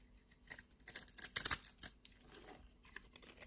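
A utility knife blade scrapes crumbs off a solid blue and white striped soap bar, giving a run of short, dry, bright scratching crackles. The sound is almost all high-frequency, with a dense cluster of gritty scrapes in the middle and softer crumbly rasps trailing off.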